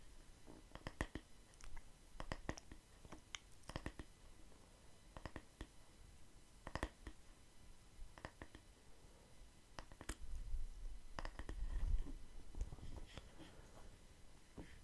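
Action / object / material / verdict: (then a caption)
tap / wooden hair brush back / wood / none. Fingertips tap and scratch the solid, light wooden back of a handheld wooden hair brush held close to the mic. Sharp, dry clicks come at an irregular, unhurried pace, with soft scratching in between. A low, muffled rumble swells in the middle before the quiet taps return.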